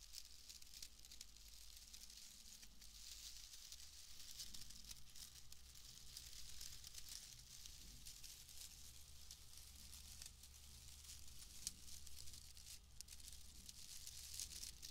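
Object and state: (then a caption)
Bundle of wood wool shreds. A pale bundle of wood wool shreds is rubbed and crushed between the hands, giving a soft, continuous dry crackling and rustling with a bright, hissy texture. The sound stays quiet and steady throughout, over a constant low hum.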